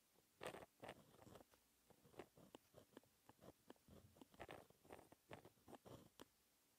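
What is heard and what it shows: A white-ink pen tip scratches across a sheet of flat black textured paper, writing fractions and symbols in short strokes. Quiet, dry scratching bursts with a bright papery edge come one after another with brief gaps between them.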